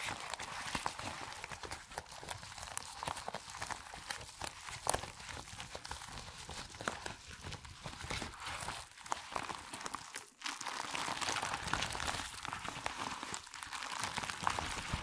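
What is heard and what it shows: Fingertips in black nitrile gloves grab, stretch, bunch and squeeze a thin purple latex rubber resistance band on a white table into a crumpled wad, rubbing the folds together. Dense, bright crinkling and squeaky rubbing run continuously for the whole clip, with a brief near-silent pause around the tenth second.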